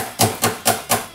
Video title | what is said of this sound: Peavey Studio Pro 112 Silver Stripe Guitar Amplifier suara berisik #serviceelektronik #tutorial | saya coba Ketuk lagi gak berisik lagi